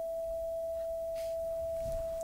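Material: Nothing is struck.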